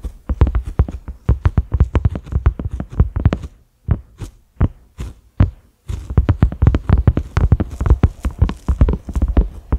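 A large round cream-colored silicone lid (a microwave or pot cover) with concentric ridges and a grey center knob lies flat on a dark surface and is tapped with the fingertips and short nails of both hands. Rapid, dull, low thumps patter densely with almost no ring, thin out to a few sparse taps in the middle, then resume in a quick, steady flurry.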